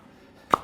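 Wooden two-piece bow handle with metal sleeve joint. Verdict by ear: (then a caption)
Tight. A finished two-piece wooden takedown selfbow, joined with a steel and brass bow sleeve, is seated with a single little tap. It makes a short, sharp knock with a brief mid-pitched ring after near silence. The joint fits tight with no wiggle and is solid.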